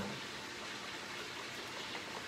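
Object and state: Nothing is struck.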